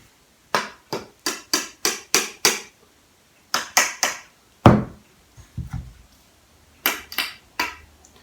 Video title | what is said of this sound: Review: Black Crackle Blade From Kyberlight | you can kind of hear that cheap hollow sound